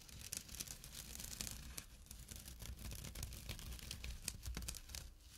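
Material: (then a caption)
Jute. Short nails rapidly scratch the woven surface of a small, empty jute burlap drawstring pouch resting on dark cloth. The result is a dense, dry, bright crackling scrape, with a low, steady rumble underneath throughout.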